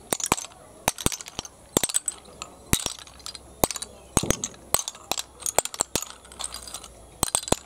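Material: Shell.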